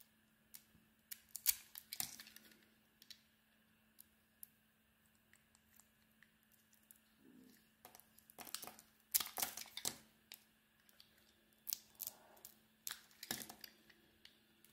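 A metal blade cuts through and shaves the surface of a solid oval soap bar with a red and beige marbled surface and a white core, held in the palm. Quiet, dry crackles and scrapes come in short, bright bursts with denser clusters of shaving sounds, over a faint steady low hum.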